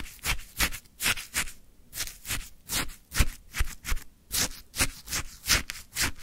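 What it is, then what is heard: Shaved ice scraped with a wooden stick. A wooden stick scrapes and lifts orange frozen shaved ice from a full plastic cup, close up. About 13 separate crunchy, bright scraping strokes come at an uneven pace, each a short gritty rasp with a soft low thud beneath.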